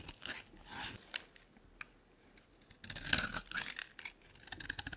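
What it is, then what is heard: Dry soap bar being carved. A metal blade scrapes and carves flakes off a dry, solid oval green soap bar with embossed lettering, held in the palm. Soft, bright scraping and crisp crunching come in short strokes, with a denser, louder stretch of carving in the second half.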